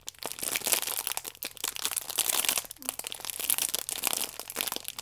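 Fingertips and long nails squeeze and scratch a plastic-film-wrapped stack of paper baking powder sachets, making it crinkle. Dense, bright crackling and crunching runs throughout in quick bursts, with sharp clicks and almost no low end.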